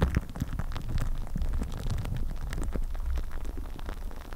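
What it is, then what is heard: Plastic cling film on a microphone being scratched and tapped. Clear plastic cling film wrapped over a microphone head is scratched and tapped fast with long nails. The sound is a dense, continuous crinkling and scratching, with quick taps and a heavy, muffled low-end rumble underneath. It stays at a steady level throughout.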